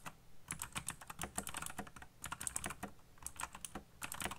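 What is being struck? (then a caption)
Plastic mechanical keyboard. Fingertips type rapidly on a backlit black plastic mechanical keyboard, giving a dense run of sharp, bright clicks over a low thock. Brief pauses break up the bursts of keystrokes.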